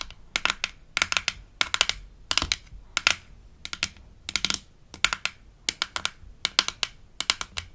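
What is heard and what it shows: Long acrylic nails tap and scratch the hollow, palm-sized, light-blue plastic lid of a toy denture case with an embossed smiley, from a Melissa and Doug Super Smile Dentist Kit. Quick bursts of sharp, bright clicks come in small clusters, each dying away almost at once with little low end, similar to fast keyboard typing.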